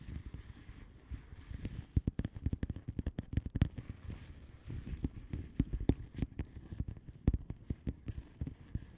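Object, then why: Plastic bubble wrap envelope. Long nail tips tap and lightly scratch the bubbles of a flat blue plastic bubble wrap envelope. A rapid, uneven series of short, dry, muffled taps with a dull low thump and almost no ring sits over a soft, continuous scratchy rustle, with no bright edge.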